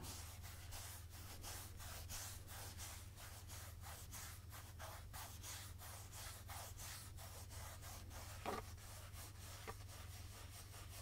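Fingertips rub and scratch the sides of a medium translucent plastic pump jug of jojoba oil, mostly full of golden oil, which is brought close to the microphone on the left at the end. Quiet, rhythmic, bright brushing strokes repeat over a steady low hum, and a couple of brief, slightly louder knocks stand out near the end.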